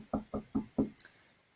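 Four evenly spaced knocks on a desk make dull, low-mid thuds with very little ring. A faint, sharp higher click follows just after.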